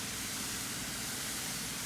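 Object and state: Nothing is struck.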